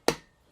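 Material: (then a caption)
Metal. A soft hammer taps a metal main bearing cap down into its pocket on the block during a 1968 Chevy Malibu Wagon engine rebuild. Two sharp clicks are heard, the first with a short bright ring and the second at the very end of the clip. The cap seats flush in the pocket on both sides, which is normal.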